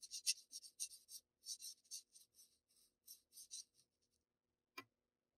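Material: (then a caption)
Paper. A black wooden graphite pencil rubs short shading strokes over the block areas of a flat sheet of Bristol paper. Quiet, bright, scratchy bursts come in a quick run of strokes that thin out and fade. A lone sharp tick sounds near the end.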